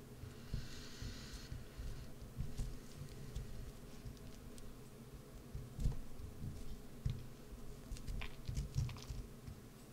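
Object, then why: Bar of soap. A solid green bar of soap, partly hollowed out by carving and held in the hand, is scraped with a small metal carving gouge. The result is soft, quiet, low scraping and pattering with scattered brief dull scrapes and clicks, plus a faint bright hiss near the start.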